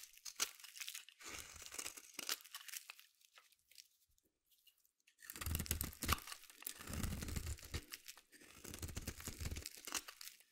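A solid orange bar of soap is shaved with a metal blade in a scraping action, and crunchy curls fall away. The result is a run of dry, crackling scrapes with bright, crisp texture and a low, soft thud beneath some strokes. The strokes come in bursts separated by a near-silent pause in the middle.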